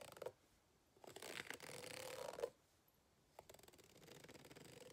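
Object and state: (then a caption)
Rubber hot water bottle scratched with a plastic fork. A white plastic fork, held in a hand with long red nails, scratches the ribbed surface of an empty green ribbed rubber hot water bottle lying flat on a table. A brief scrape is followed by a longer, louder rasping scratch with a squeaky tone around 500 Hz, then a pause and a run of quick, ratchet-like scrapes with a bright edge that continue to the end.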